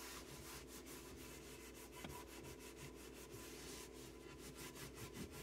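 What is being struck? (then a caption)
Melamine particleboard cabinet shelf. A hand rubs and wipes a solid, flat white melamine particleboard shelf inside a cabinet with a purple terry cloth, with jars sitting on the shelf below. Quiet, steady, rhythmic strokes of broadband rubbing hiss reach up into bright high frequencies, over a constant low hum near 74 Hz.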